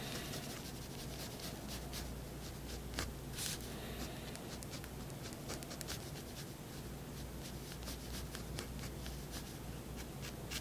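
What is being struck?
Paper sheet under a fineliner pen.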